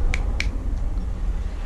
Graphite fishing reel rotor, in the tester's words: Kadang sebagian reel jika diketuk seperti ini bunyinya renyah, kayak ini plastik mainan anak-anak, tapi ini padat